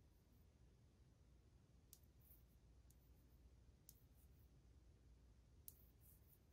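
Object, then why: Glazed ceramic wall tile. A single long index fingernail taps slowly on old, glazed white ceramic subway tiles on a solid wall, near the grout line. A few sparse, faint, bright clicks stop almost instantly, heard over a quiet, steady low rumble.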